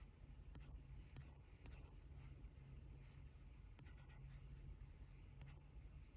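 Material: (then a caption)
Glass. A hard plastic stylus tip with a rubber grip sleeve taps and strokes across the glass touchscreen of an 11-inch iPad Pro while drawing; the tablet is flat, solid and held steady on a desk. Soft scratchy strokes and faint light taps sit over a steady low hum that fills most of the clip.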